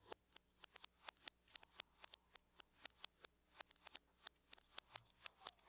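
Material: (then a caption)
Aluminum. Long nails tap and scratch the lid of a closed silver aluminum laptop. About 28 quick, bright clicks with almost no ring land in an uneven rhythm, with faint scratching between them and very little low end. The whole clip is quiet.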